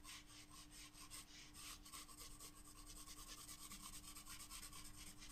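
A graphite pencil shades petals on a white paper page of a spiral-bound sketchbook with continuous rubbing strokes. The result is a quiet, steady, bright scratchy rasp in rhythmic strokes over a low background hum.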